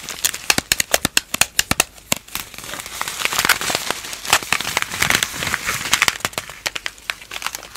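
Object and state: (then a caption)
Plastic foil cold compress pouch. A palm-sized, sealed, full plastic-foil instant cold compress pack is squeezed and crinkled between both hands with fingertips and long nails. It makes sharp, bright crackles and crinkles, spaced apart at first, then merging into a denser, rustling stretch before separating again. There is almost no low end.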